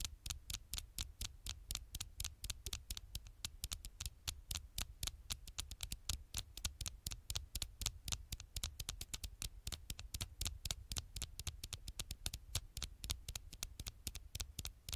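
Long fingernails rapidly tap and scratch the hard, flat glass screen of a dark smartphone held sideways in one hand close to the microphone. The quiet, dense stream of short, dry clicks comes in an uneven patter of about four per second, each a bright tick over a soft low thud with no ring.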